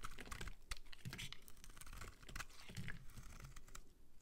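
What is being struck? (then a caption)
Soap bar. A metal utility-knife blade scrapes across a solid, palm-sized pink bar of soap held in one hand, shaving curls off its surface. The sound is a quiet, steady run of rapid, crisp scraping ticks, each dying away quickly, with a soft low body under brighter crackle.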